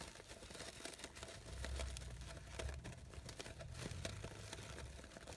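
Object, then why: Synthetic organza fabric flower. A light-blue layered organza fabric rose has its petals scratched and rubbed by long nails. The result is a soft, continuous crinkling rustle with a low rumble and crisp high scratchy flicks throughout.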